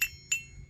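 A hammer taps a wrought iron Peter Wright anvil, identified by its faint stamped lettering, twice. Each tap gives a bright metallic ping centred near 2.7 kHz with a short ring, and the anvil rings clearly.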